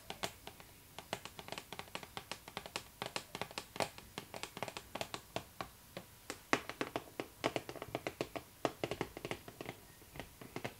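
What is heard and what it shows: Long nails tap on the cardboard side and top of a pink cardboard Barbie box held up close. Dozens of crisp, dry clicks come in quick, uneven bursts, each dying away almost instantly with a light papery tone.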